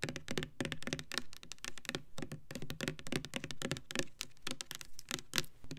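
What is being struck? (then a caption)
Plastic foaming hand soap bottle. Long nails tap rapidly across the sides and pump top of a hand-sized Bath and Body Works Winter Candy Apple foaming hand soap bottle made of clear plastic and filled with red liquid. The result is a dense, irregular patter of short, dry plastic clicks and knocks, with a hollow low thump under bright, crisp ticks that die away almost instantly.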